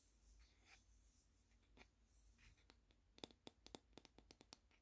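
Long painted nails scratch and tap on a flat, round, solid wooden coaster with a plant print, held close. Soft, airy scratching comes first, then a quick run of sharp, bright clicking taps that stop dead with no ring, all at a low, quiet level.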